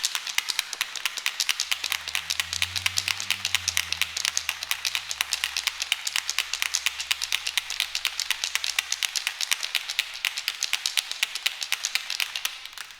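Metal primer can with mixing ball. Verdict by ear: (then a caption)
Loose. A metal can of 207 windshield glass primer is shaken, and its loose mixing ball rattles inside with a fast, bright, clicking rattle throughout. A faint low hum swells and fades underneath. The rattle shows the ball has come free and the primer is mixing as it should.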